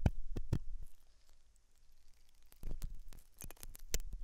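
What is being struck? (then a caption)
Silicone dummy ear of a binaural microphone. A thin hooked metal dental tool scratches inside the ear canal of a white silicone dummy ear on a binaural microphone, the ear soft and solid-looking. Close, dry scratches and short crackling ticks come in bursts at the start and end, with a quieter, faintly rustling stretch in between. Each contact lands as a muffled low thump edged with a brief bright crackle and dies out almost instantly.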